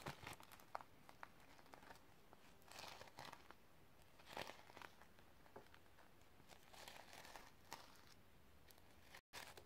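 Long red-painted nails on ringed fingers scratch and brush the reversible iridescent sequin fabric cover of a flat hardcover notebook held in the hand. The result is soft, crinkly rustling with quick scratchy ticks and a few louder brushing swells, all at a quiet level. The sound cuts out briefly near the end.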